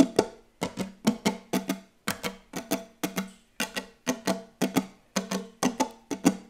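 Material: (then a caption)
Wood. Fingertips tap very fast on a wooden table in quick clustered bursts of about 25 short, dry knocks. Each knock has a woody, block-like tone centered around 270 Hz and dies away almost instantly.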